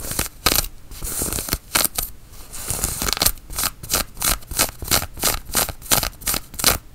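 Long nails scratch and pinch the sleeve and buttoned cuff of a grey woven cotton flannel shirt worn on the arm. Quick, rhythmic bursts of dry, bright rasping follow one another with little ring, over a faint low rumble.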